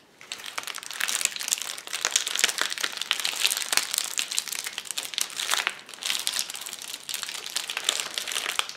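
A flat sheet of clear plastic bubble wrap on a table is pressed, pinched and popped with fists and fingers. A steady, dense stream of bright crinkling is broken by many sharp, quick pops, with almost no low end.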